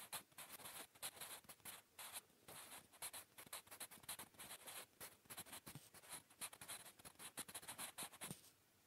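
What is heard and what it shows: A blue-painted wooden graphite pencil scratches across a flat, solid grey lined notebook page while writing English cursive and Korean. Quiet, bright, papery scratching comes in quick, uneven bursts of short strokes with little low end. The writing stops just before the end, leaving a faint hiss.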